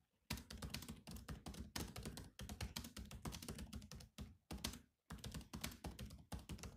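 Rapid fingertip typing with both hands on the black plastic keys of a silver laptop keyboard. Quick, clicky taps run in dense bursts, each with a soft low thunk and a bright, short click that dies away fast. There are brief pauses near the middle and again around the five-second mark.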